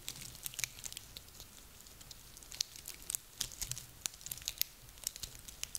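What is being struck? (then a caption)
Small pine cones. A handful of small, dry, woody pine cones is squeezed and rubbed between hands, producing dense, bright crackling. Quiet, sharp snaps and crinkles with almost no ring pop out irregularly over a faint, steady rustle throughout.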